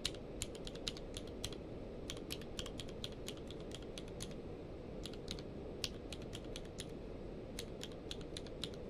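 Both hands type rapidly with the fingertips on a full-size plastic mechanical keyboard with a blue-grey case and white and grey plastic keycaps, lying on a blanket. Quick, bright, clicky key taps patter in an uneven stream over a steady low background hiss.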